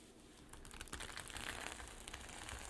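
Long nails scratch and flip the reversible rainbow and silver sequins on a flat zippered sequin fabric pouch, with some fingertip tapping mixed in. After a quiet first half-second, a dense run of bright, crinkly clicks and rustles builds and continues steadily to the end, with soft low thuds underneath.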